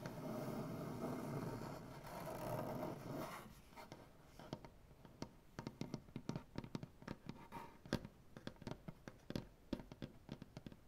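Fingernail tips scratch across a solid maple butcher block tabletop for about three seconds, making a steady, dense rasp. Then the nails switch to quick, irregular taps, giving dozens of short, dry clicks with almost no ring as the fingers spread and curl over the wood.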